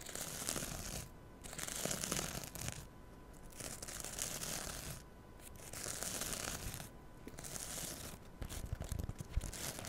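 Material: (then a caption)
Synthetic fibre. Long nails scratch and rub the green abrasive scouring side of a small rectangular kitchen sponge, held in both hands right up against a small microphone. Bright, dense rasping scratches come in repeated bursts separated by brief quieter pauses, over a steady low hum.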